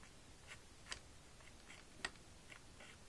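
A white stylus taps and draws on the screen of a pink plastic magnetic drawing board lying flat on a table while the other hand holds the board steady. Two short, bright plastic ticks stand out among fainter scratchy strokes and light taps, all very quiet.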